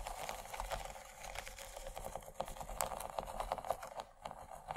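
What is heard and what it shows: Long nails tap and scratch along the raised ridges of an empty, large rectangular yellow plastic tray with a bumpy corn-cob texture. The result is a dense run of quick, dry clicks and scrapes with a hollow mid-pitched tone and bright crackly edges. Each tap dies away almost instantly.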